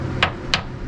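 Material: Fiberglass.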